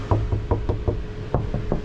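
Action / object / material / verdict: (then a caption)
knock / steel van roof panel with damping pads / steel / damped. A steel roof panel of a Hyundai Solati camper van conversion, treated with anti-vibration damping pads, is knocked repeatedly by hand. Each knock lands as a short, dull, low thud with almost no ring, showing that the damped panel gives the fully deadened sound it should.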